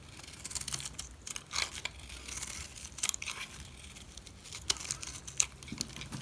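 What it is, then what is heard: Dry soap bar being scraped. A utility knife scrapes flakes off the face of a solid black dry soap bar. Quick, dry, bright scraping crackles come in uneven bursts over a faint hiss, with almost no low end.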